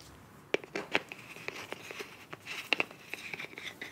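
Long nails tap and scratch the body of a filled beige plastic face wash tube with a bronze cap. Quiet, bright, sharp clicks mix with soft crinkly scratching, each tap dying away almost at once with no ring.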